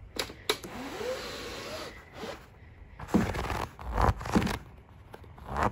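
Fingertips and nails scratch and tap across a large, thin, hollow-celled pleated fabric or paper window shade lit from behind. Soft papery rustling and scraping runs through the clip, with a rising and falling whistly tone early on. Sharper, louder taps come in bursts later.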